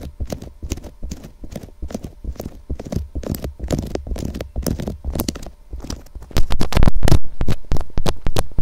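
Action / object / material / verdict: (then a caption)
tap / plastic binaural microphone housing tapped with fingernails / plastic / none. Long acrylic nails on both hands tap quickly on the sides of a white, hollow, box-shaped plastic SR3D binaural microphone housing. The result is a fast, uneven stream of short, dull, low knocks that sound like clip-clopping hooves. Past the six-second mark the tapping grows noticeably louder.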